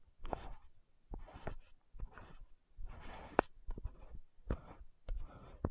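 A frosted orange-red plastic lotion bottle with a gold cap is held in both hands while long nails tap and scratch the cap. Quiet, soft bursts of scratching mix with sharp, dry clicks of tapping, with no ringing after each contact.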